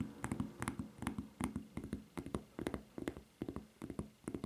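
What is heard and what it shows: Long fingernails tap and scratch the serrated surface of a white rubber flip-flop footbed with a red logo and strap. Quick, dry taps come in uneven clusters, each with a dull low body around 200 Hz and a brief bright click that dies away almost at once. Faint scratching fills the gaps at a quiet level.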